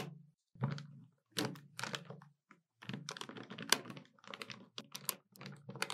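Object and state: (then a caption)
Plastic desktop calculator keys. Fingertips and long nails rapidly tap and press the plastic keys of a hollow black plastic desktop calculator. The result is bursts of quick, dry clicks with a low, hollow thump under bright tapping, each sound cut off almost instantly, separated by short pauses.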